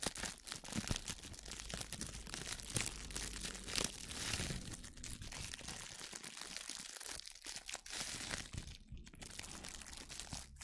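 A thin, clear sheet of plastic kitchen cling film is held between both hands with long painted nails and crumpled right in front of the microphone. Dense, bright crinkling and crunching goes on steadily for about eleven seconds, with a few sharper crackles standing out early on.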